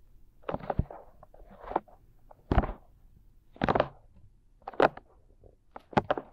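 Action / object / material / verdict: scrape / silicone ear shapes of a binaural microphone / silicone / none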